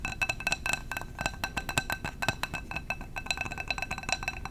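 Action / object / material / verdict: tap / glass candle jar / glass / none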